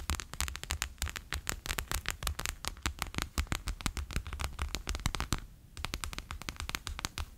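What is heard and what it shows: Fingertips and nails rapidly tap a bear-shaped clear PVC pouch full of water beads lying flat on a table. The taps come as dense, sharp crackly clicks with a low thump under each, pausing briefly near the end before resuming.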